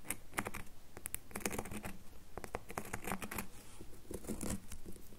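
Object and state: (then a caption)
Bar of soap tapped with fingernails. Fingernails tap rapidly on the surface of a solid red bar of soap held in one hand. The result is a quick, irregular stream of short, dry clicks with bright ticking edges over a soft, low body, each dying away almost instantly.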